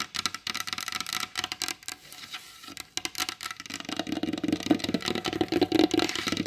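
Long pointed blue acrylic nails tap rapidly on the surface of a large, solid varnished wooden table. The dry, bright clicks come in quick, uneven bursts with almost no ring. About halfway through they grow louder and pick up a warmer, hollow woody knock.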